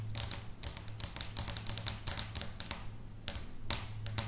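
Long bare natural nails of both hands tap and scratch across a flat, pinkish, speckled felt or carpet-like mat lying on a solid table. The result is a quick, uneven run of crisp, bright, papery taps and scrapes that die away almost instantly, over a steady low hum.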